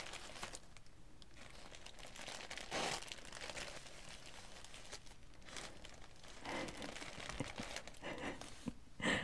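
Thin green tissue paper lying flat on a table is rubbed and smoothed by fingertips and long nails, then pressed flat by the hands. The result is a steady, soft crinkling and rustling with brighter bursts of crackle near 3 and 9 seconds.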